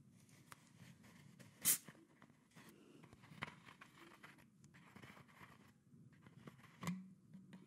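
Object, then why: PET plastic soda bottle cap and neck. Long nails scratch and tap the red plastic cap and neck of a tilted PET plastic Coca-Cola soda bottle. Soft, continuous scratching runs under a low rumble, broken by a few sharp, bright taps that stand out clearly before fading quickly.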